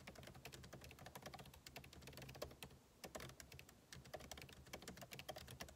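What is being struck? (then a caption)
Laptop keyboard, plastic keys in a metal body. Fingertips type rapidly on the plastic keycaps of a backlit MacBook Pro keyboard set in an aluminum body. The result is a dense stream of short, crisp clicks with bright edges over a soft low rumble, pausing briefly around the three-second mark before resuming.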